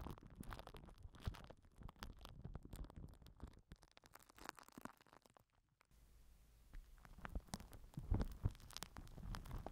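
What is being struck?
Plastic film wrapped over a microphone.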